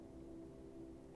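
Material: Nothing is struck.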